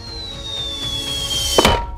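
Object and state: Nothing is struck.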